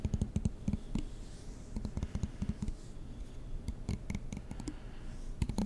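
A black plastic comb with long teeth, held close to the microphone, has its teeth strummed and flicked with a fingertip and nail. It makes a quick, irregular run of soft, dull clicks and scratchy flicks, mostly low and muffled with very little brightness. Each flick dies away almost instantly.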